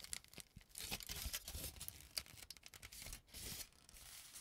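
A large crumpled sheet of aluminum cooking foil is held up in both hands and crinkled, pulled and rubbed with the fingertips. It makes bright, crackling crinkles and tearing-like rustles in quick, uneven bursts, with short quieter gaps between the louder crunches.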